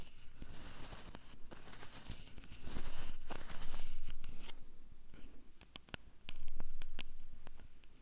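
Long purple nails on both hands tap and scratch the top and the two metal mic capsules of a small Tascam handheld recorder with a hollow black plastic body. Close, dry scratching and rustling swell louder in the middle, then give way to sharp, bright clicking taps that stop quickly, before another burst of scratching near the end.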